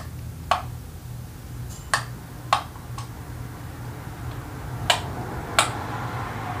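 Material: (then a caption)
Plastic. Long acrylic nails tap and press the yellow clicker buttons on a small hollow multicolored plastic fidget cube in grey, purple, blue and yellow, held in one hand. Each press gives a sharp, dry click that is bright and dies away almost instantly, spaced irregularly over a steady low hum.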